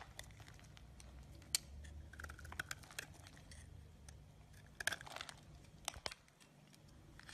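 A hand-sized solid green bar of soap, held in one hand, is scraped and carved by the edge of a yellow-handled box-cutter blade. Quiet, dry scraping and crinkly shaving sounds come in short, bright bursts, with a few sharper clicks standing out over a low background rumble.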